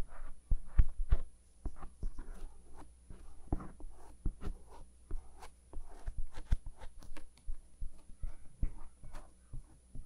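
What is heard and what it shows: A bamboo ear pick held in a white-gloved hand scratches along the rim and canal opening of the soft silicone ear on a 3Dio binaural microphone. Rapid, light, irregular scraping strokes come through as short, close-miked rustles and clicks, about 21 in all. A steady low hum and a faint high, thin tone sit underneath throughout.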